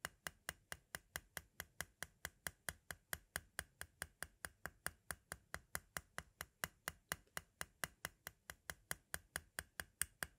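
A thin metal-tipped tool taps repeatedly on a white plastic audio cassette shell, just above the tape window. There are 47 quick, dry clicks at a steady pace of about four or five per second, each bright and sharp with almost no ring.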